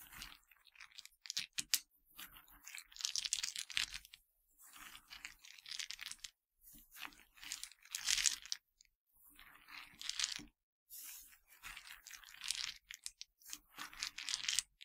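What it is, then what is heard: Yogurt-coated pretzel pieces being crunched. Fingertips with dark nails dig into, crunch and scratch a pile of broken white yogurt-coated pretzel pieces. Dry, bright crackling and crunching comes in short bursts separated by brief silences. Each crackle stops at once with no ring.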